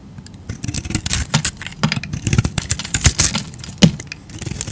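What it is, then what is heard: Bar soap being carved. A utility knife blade scrapes and shaves chunks off a solid light-blue bar of soap with a dotted painted coating, held in the hand. Dense, crisp scraping and cracking bursts with bright edges sit over a low, muffled body, each cut ending quickly.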